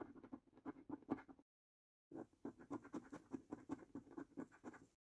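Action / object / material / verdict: scrape / thin cardboard lottery scratch card scraped with a coin / cardboard / none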